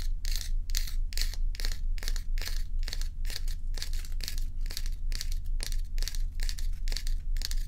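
Long acrylic nails scratch and tap across a large, solid, tilted block of ice. Quick, bright, rasping strokes repeat in a steady rhythm, about two per second, over a constant low hum. Each stroke ends with almost no ring.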